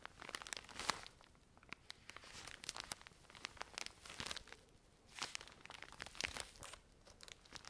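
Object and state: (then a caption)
Plastic-wrapped pack of cotton pads. Long nails scratch and tap the plastic film of a full pack of cotton pads. The result is a quiet, bright crinkling with many sharp, dry ticks and short rustling bursts that come and go over several seconds.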